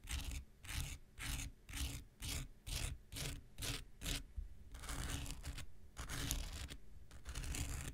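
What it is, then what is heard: Foam nail buffer block. A handheld pink rectangular nail buffer block, solid foam with an abrasive surface, is scratched with an X-Acto knife blade. Nine separate rough scraping strokes come in a steady rhythm, then longer, more continuous scratching follows. Each stroke has a bright, gritty hiss over a dull low rumble.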